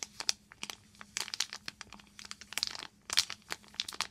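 A small silver and clear foil pouch with a sponge inside is crinkled and scratched with long nails. The result is a dense run of sharp, bright crinkles and crackles in short, irregular bursts over a faint steady low hum.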